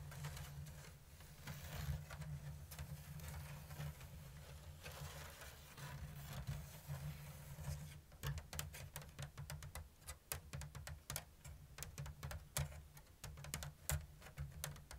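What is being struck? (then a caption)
Woven bamboo lattice basket. Long blue almond-shaped nails scratch and tap a round, hollow basket of thin bamboo strips in an open diamond weave. The first half is a soft, continuous scratching over a steady low hum. Around the midpoint it turns to quick, crisp, bright taps that die out almost instantly.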